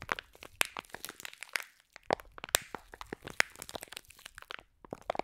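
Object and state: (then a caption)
Foam bead slime in a plastic pack. Long nails squeeze and crush a clear plastic pack of green foam bead slime. Dense, bright, crisp crackles and crunchy pops come in quick irregular bursts, each snapping off at once with almost no low end.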